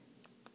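Small, oddly shaped thrifted wooden blocks are tapped together. Two quiet, short wooden clicks with a bright, crisp edge stand out over a soft, low hiss. Each fades almost at once.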